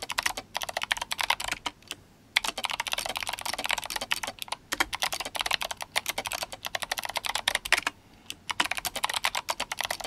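Fingertips of both hands type fast on an RGB-backlit GMMK Compact mechanical keyboard with clicky Kailh Box White switches and plastic SA keycaps. The result is a dense stream of sharp, bright clacks with short pauses around the two- and eight-second marks.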